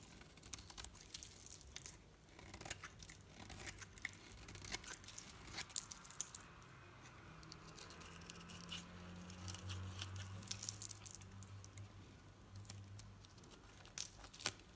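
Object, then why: Solid bar soap shaved with a metal blade. A metal knife blade shaves a solid green bar of soap into curls, producing quiet, dry scraping and crisp crackling clicks with bright sharp snaps scattered throughout. A low, steady hum runs underneath through the middle of the clip.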